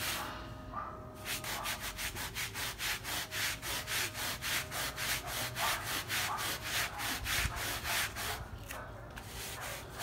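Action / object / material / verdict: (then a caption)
scrape / fabric rug scrubbed with a bristle brush / textile / none. A hand scrubs a small, flat fabric rug with a wooden-backed bristle brush; the rug lies wet and soapy on a rubber mat, with pink paint running off it. Steady, rhythmic back-and-forth strokes make a bright, wet, bristly rasp that swells and fades with each pass, easing briefly near the start and the end.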